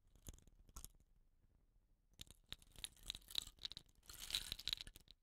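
Fingertips with short nails rub and tilt upright a hollow, dot-painted bamboo rain stick with a rattan end cap. Quiet, bright crackling and scratchy rattles come in short bursts, then fall nearly silent for about a second. They return denser and busier toward the end.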